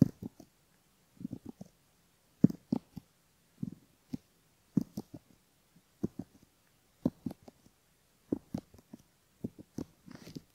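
A bamboo ear pick scratches the inner folds of the outer ear on a soft silicone left ear model with a mic in the canal, while fingertips steady the ear. Short, muffled scraping strokes come in irregular clusters about every one to two seconds, with dull low-mid rustles. Quiet pauses fall between the clusters.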